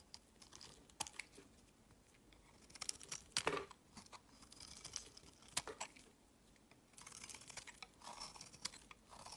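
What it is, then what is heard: Soap bar being shaved. A palm-sized, solid lavender-colored rectangular soap bar is held in the fingers and shaved along its edge with a metal utility blade. The result is a quiet series of crisp, bright scraping and crunching strokes, with a few sharper cuts standing out from softer, continuous shaving.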